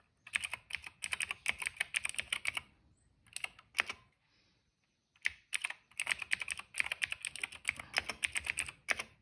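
Fingertips type on a cream plastic mechanical keyboard with black and purple keycaps and a hollow case, making rapid bursts of bright, crisp clacks with almost no low end. Each keystroke is short, with a sharp tone around 2 kHz and high clicky detail. The typing pauses briefly near the middle, then resumes in quick runs.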